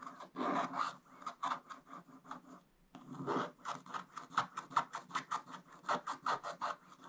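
A wooden stick scrapes the black coating off a coated scratch-art paper page in broad strokes, making dry, raspy scratching with a bright hiss. The strokes come in a quick, uneven series of short bursts, pause briefly near the midpoint, then resume faster and more steadily.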